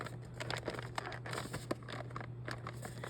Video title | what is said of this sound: Amazing Digital Circus Animiniz Unboxing Video - Sideshow Series | You can even hear a jingle a jiggle. You hear a noise if you shake it.